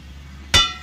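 A steel steam train wheel is struck once with an inspection hammer. The tap gives a bright metallic clang that rings near 3.5 kHz and fades within about a fifth of a second, over a steady low hum.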